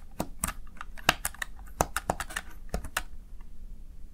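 Keys on a small backlit plastic Razer Tartarus Chroma gaming keypad are pressed and tapped by the fingertips and nails of one hand. The result is a quick, irregular run of short, sharp plastic clicks and ticks, some brighter and louder than others, each dying away almost instantly over a faint low background.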